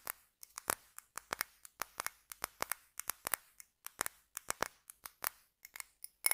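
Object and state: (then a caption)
Glass candle jar. A small clear glass candle jar filled with solid red wax is held close and its glass sides are tapped and scratched with fingertips and nails. About thirty short, sharp, bright clicks and scrapes come in an irregular rhythm, each dying away almost at once with almost no low end. A faint high glassy ring shows through near the end.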